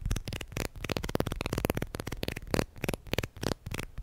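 Plastic guitar picks are tapped and handled quickly, making a rapid run of short, dry, card-like clicks with almost no ring. The clicks are broadband and bright, with a soft low thump beneath them.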